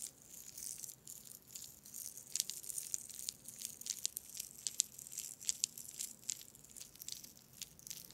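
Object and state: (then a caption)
Glass marbles in a mesh bag. A small net bag holding dozens of solid glass marbles is held above the microphone and swung and shaken by hand, so the marbles knock together. The result is a quiet, continuous, bright rattle of sharp, high glassy clicks with almost no low end, and each tick dies away instantly.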